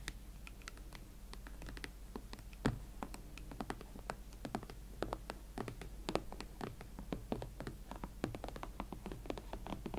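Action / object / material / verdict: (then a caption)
tap / leather platform boots / leather / none. Long nails scratch and tap the leather uppers of a pair of hot pink Valentino Club Platform boots held against the body. The result is a quiet, steady run of short, dry clicks and soft scratches with no ring, over a constant low hum.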